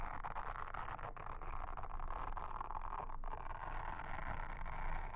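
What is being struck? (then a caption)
Silicone honeycomb trivet mat. A pink mascara spoolie brush, held in a hand with long red nails, brushes and scratches across a flat, solid round blue silicone trivet mat with a honeycomb texture lying on a table. The result is a continuous, even scratchy rustle with a steady low rumble underneath and a soft mid-range hiss, without sharp bright edges.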